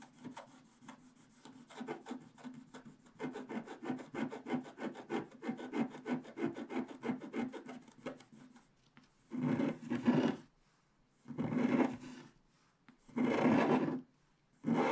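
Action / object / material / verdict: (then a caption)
scrape / wax-coated scratch-art card scraped with a wooden stylus / wax / none. A wooden stylus scrapes the black wax coating of a flat scratch-art card over a colored base, held by one hand, revealing blue in the upper left corner. Fast, quiet, papery scratching strokes run for about nine seconds, followed by four longer, louder scraping bursts with a dry, raspy texture.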